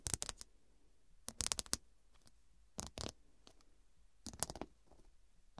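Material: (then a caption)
Glass. Long dark pointed nails tap the square faceted glass studs covering a fabric cushion. Four quick bursts of sharp, bright clicking taps are separated by quiet gaps. Each tap is dry and stops instantly with no ringing.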